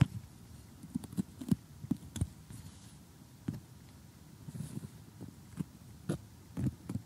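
Fingernails and metal tweezers tap and handle loose, thick cardboard jigsaw puzzle pieces with grey backs. Eleven short, dull, low taps with no ring stand out over a faint soft rustle and crunch of the pieces.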